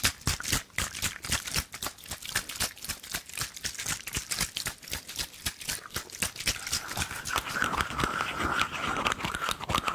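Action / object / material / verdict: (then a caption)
tap / metal canister / metal / none. Long nails tap and scratch rapidly on the body and cap of a hollow, silver cylindrical metal canister held in the hands, and the cap may be twisted. The result is a dense, irregular run of bright, crisp clicks with very short ring. Toward the end, a steadier scraping sound carries a faint sustained ringing tone.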